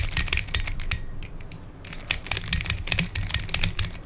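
Fingertips twist the layers of a hand-sized black plastic Pyraminx puzzle, a pyramid twisty puzzle with coloured stickers and a hollow mechanism. Rapid, bright, keyboard-like plastic clicks come in quick bursts over a low, steady hum, with a brief quieter pause in the middle before the clicking resumes.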